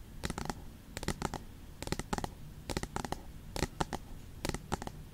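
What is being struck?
Aluminium tablet back.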